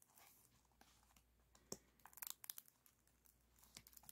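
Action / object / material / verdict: scrape / aluminum foil flexible duct / aluminum foil / none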